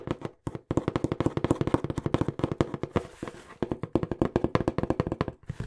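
A small, hollow, brown corrugated cardboard box, held upright next to the mic, is tapped fast with the fingertips in about 39 quick, dry taps. Each tap is a short, hollow, muffled thud centred around 340 Hz that dies away almost instantly, with little high-end. There is a brief slower stretch just after the three-second mark.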